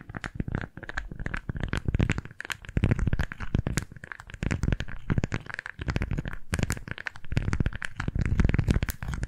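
A pink floral beeswax-coated fabric food wrap is scrunched and gripped in both hands, with fingertips and nails crinkling the waxy fabric as it is briefly brought close to the microphones. The result is a dense, continuous stream of soft crinkles and sharp crackles with a heavy low-end rumble and short, dry bursts.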